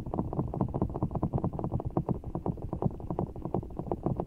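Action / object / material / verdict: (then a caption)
scrape / large ball of water gel beads in a clear rubber skin / rubber, water gel / none. Fingertips squeeze and scratch a large, soft, full giant orbeez ball, blue water gel beads in a clear rubber skin, held over the mic. A rapid, steady run of soft, muffled, low squishing taps and rubs continues throughout, with no bright edge.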